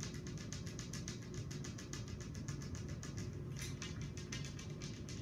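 Long acrylic nails, worn with rings, tap rapidly with both hands on a large, flat, solid glass tabletop. The result is a steady stream of bright, crisp clicks over a constant low hum.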